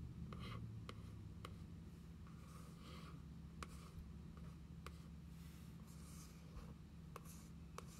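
A single long fingernail traces and scratches along the printed designs on the cardboard cover of a closed journal. Soft, dry scratching strokes come in uneven bursts, with faint sharp ticks scattered between them. A steady low hum runs underneath.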